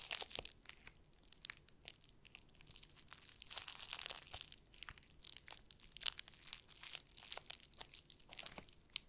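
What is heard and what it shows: Fingertips rub and crinkle the surface of a large flat board wrapped in crinkly black plastic cling film, held in both hands. The result is a quiet, bright, crackling crinkle made of many rapid, dry snaps with almost no low end, rising and falling in bursts throughout.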